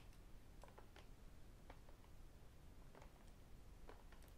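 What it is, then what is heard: Plastic water bottle tapped with fingertips and rings. A hollow white plastic sports bottle with a black design is held in one hand and tapped with fingertips and metal rings. Quiet, scattered light clicks and taps sound over a steady low background hum.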